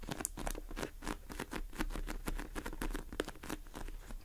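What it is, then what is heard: Polyurethane foam squishy cake. Long acrylic nails on both hands tap and scratch fast on a pink polyurethane foam squishy cake sitting in a tray. The result is a quiet, steady patter of soft, dull taps mixed with scratchy rustling, with a few sharper bright clicks standing out.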